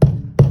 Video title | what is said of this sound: Mercury 270 RIB initial look | when you hit it, it sounds solid. It doesn't sound flimsy. It doesn't sound thin.